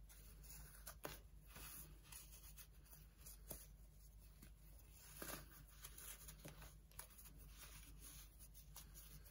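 Pieces of a dried, compressed baking soda slab are squeezed and crumbled in both hands over a pile of powder and crumbs on an orange tray, with fingertips crushing solid, brittle chunks. Soft, steady crunching and powdery rustling run throughout, broken by sharper crisp snaps as chunks give way, over a faint, constant low hum.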